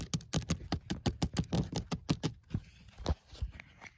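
Fingernails tap rapidly on the side of a hollow white woven wicker basket and scratch across its woven strands, giving sixteen short, dry, hollow-sounding taps with a low body. The taps come quickly for the first two seconds, then thin out into softer, sparser taps and light scratching.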